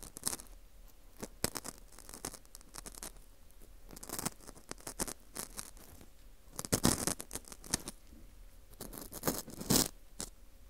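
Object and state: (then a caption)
Dried wheat gluten fu ring, scratched. A thin metal dental scaler hook scratches inside the center hole of a dry, porous dried wheat gluten fu ring held in a gloved hand. The result is irregular, dry, crackly scraping in short bright bursts with quiet pauses between, and a few louder rasping flurries near the end.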